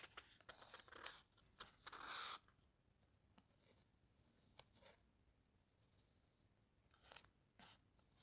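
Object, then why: Paper encyclopedia page. Fingertips with long dark nails trace and scratch across the thick matte paper of a large hardcover encyclopedia lying open. Quiet, dry, bright papery rustles and sharp ticks come in short bursts, with a longer hissing rub early on, over a faint background.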